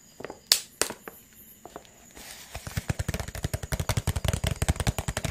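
A clear, thin, hollow PET water bottle is squeezed and crumpled in the hand, giving crinkling cracks. A few sharp, bright snaps come first with quiet gaps between them. The crumpling then speeds into a dense, uneven run of crisp crackles to the end.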